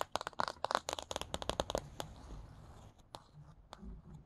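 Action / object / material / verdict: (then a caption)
tap / paperback book, glossy card cover / card / none. Fingertips fitted with paperclips over the nails tap and scratch the glossy card cover of a paperback copy of the children's book *Charlie Anderson*. A quick burst of sharp, crisp clicking taps fills the first two seconds. It thins into soft, dry scratching, broken by a couple of isolated taps.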